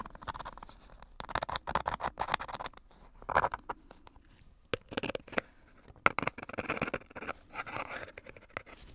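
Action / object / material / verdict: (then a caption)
scrape / bar of soap in a paper wrapper / paper / none. A metal tool with a knurled handle scrapes and taps across the paper or cardboard wrapper, with its tape and red writing, on a hand-sized, solid Coast soap bar held in a black-gloved hand. Dry, crackly scratching and quick papery taps come in short bursts separated by quiet gaps, centered in the midrange with bright edges and almost no ring.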